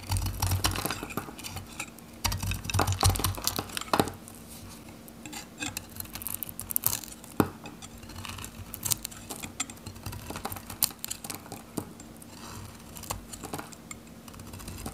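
A metal knife scrapes and shaves thin layers from the end of a handheld, solid, dry, varnished pale yellow Godrej No.1 soap bar. Irregular dry, crisp scraping and short bright clicks sound over a faint steady low hum, with heavier low thuds in the first few seconds.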